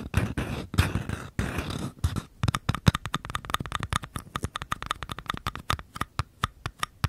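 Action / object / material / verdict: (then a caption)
tap / small paper cups / paper / none. Fingertips and short nails scratch and tap the walls and rims of two identical small, empty, hollow paper cups held sideways. The clip opens with dense, papery scratching bursts, then shifts into a quick run of dry, hollow taps, each with a faint, short-lived ring in the low-mid range.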